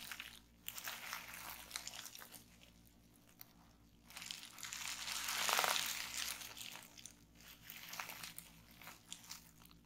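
A bunched sheet of clear plastic bubble wrap is squeezed and twisted in both hands, popping the bubbles and crinkling the plastic. Bright, crackly pops and rustling crinkles come in bursts, fade to a near-quiet lull, then swell into a louder, dense stretch of crackling midway before tapering into scattered pops.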